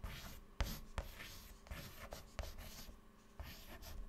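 White chalk held in the fingertips writes text on a clean black chalkboard panel, producing a steady series of dry, scratching strokes with a bright, hissy texture. Sharp little taps mark where the chalk meets the board at the start of strokes.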